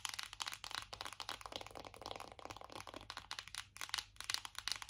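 Long acrylic nails tap rapidly on the back of a closed black matte cardboard eyeshadow palette. The result is a dense run of dry, crisp, bright clicks with almost no low end and very short ring.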